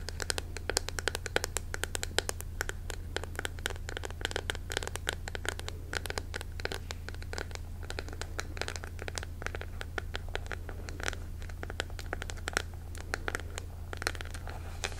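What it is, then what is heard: Bamboo hairbrush. Long nails scratch and tap the back of a striped bamboo paddle hairbrush with an engraved design, made of solid wood and held in the hand. Quick, dry clicks and scratchy strokes come in a dense, steady stream for the whole clip, each one crisp and short with no ring. A constant low hum sits underneath.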